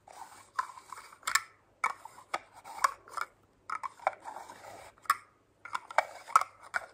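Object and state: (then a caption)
Glass spray bottle with metal cap. Long nails tap and rub a clear glass spray bottle with a gold metal collar, partly filled with liquid, touching both the glass and the cap. Sharp, bright clicks alternate with dry, scratchy rubbing in short bursts separated by brief silent pauses. Each tap stops almost instantly with no ringing.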